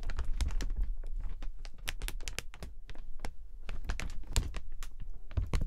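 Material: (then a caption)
Thin plastic. A clear plastic umbrella is held open and tilted while its thin plastic canopy, stretched over metal ribs, is handled and tapped with the fingers. The result is a rapid, irregular run of short, dry taps and crinkly clicks with a deep low thump beneath them and bright crackle on top, with almost no ring after each touch.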